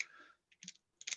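A metal pin tumbler lock is pounded down to seat its pins and then shaken, producing short bursts of light, bright, high-pitched clicking rattles with no ring. The rattle of the loose pin shows the lock is missing the spring in one of its chambers.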